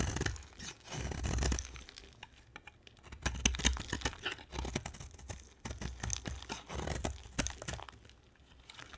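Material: Soap.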